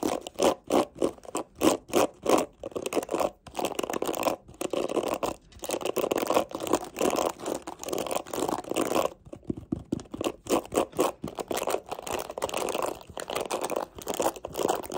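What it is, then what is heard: Plastic hairbrush bristles scratched. Long nails scratch and scrape the black plastic bristles of a mint plastic detangling hairbrush. The result is a dry, rhythmic series of short raspy strokes, centered in the midrange with little low end. Some stretches turn into denser, continuous scraping.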